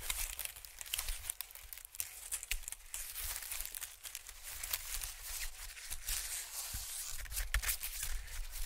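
A thin sheet of white honeycomb-cut packing paper is stretched, waved, then flattened and rubbed with fingertips on a dark surface. It makes a quiet, continuous bright crinkling and papery rustle with dense tearing-like crackles over a faint low hum.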